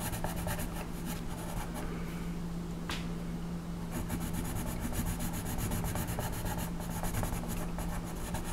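A colored pencil held at a low angle rubs across a flat paper coloring page on a table, shading a horse's tail in repeated strokes. Each stroke makes a soft, scratchy rasp with a bright edge, forming a steady rhythmic rubbing over a constant low hum.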